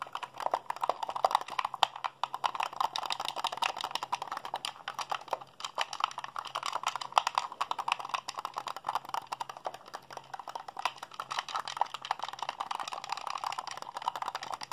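A white, hollow plastic Xbox handheld controller is held in both hands while fingertips and thumbs rapidly mash its buttons. The result is a dense, continuous stream of short, dry plastic clicks and clacks centered in the midrange with some bright edge, each hit dying away almost instantly. A faint low hum sits steadily underneath.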